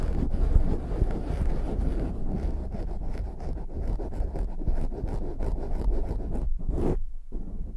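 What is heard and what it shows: Both hands cup a black foam windscreen on a microphone and rub it with their fingers. The result is a dense, boomy, low scratching rumble that runs continuously, with a couple of brief near-silent breaks near the end.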